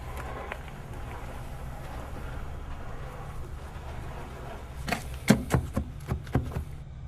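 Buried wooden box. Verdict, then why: Hollow. A buried wooden box, later found to be a lidded box, is struck from above during digging and gives seven short, hollow knocks in the last two seconds over a steady low rumble. The thuds sound like hollow wood.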